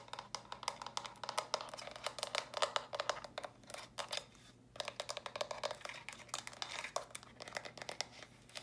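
Long nails quickly tap and scratch the smooth sides of small, hollow, stacked plastic brick storage boxes in pink, lilac and purple. The result is a rapid run of short, dry, bright clicks with a hollow ring around 590 Hz, mixed with crinkly scratching. The sound breaks off briefly just past four seconds, then resumes at the same pace.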